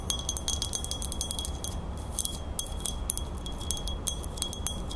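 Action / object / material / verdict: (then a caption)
tap / metal crown / metal / none. Long nails tap and scratch the flat base and rim of a silver-toned metal crown base with a fleur-de-lis emblem. A rapid, irregular run of bright, short metallic clicks and chime-like pings rises over a steady high tone and a low, constant rumble.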